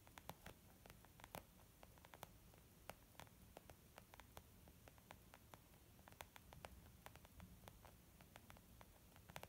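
Fingertips tap gently and slowly on a leather makeup bag, making a soft, muffled patter of short, dry taps over a low steady background hiss.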